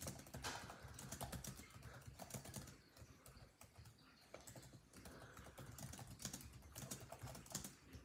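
Fingertips of both hands type rapidly on a built-in laptop keyboard with dark plastic chiclet keys set in a grey laptop body. The quick, soft plastic key taps run in a dense, uneven stream with bright clicky edges over a low undertone. The typing eases off around the middle before picking back up.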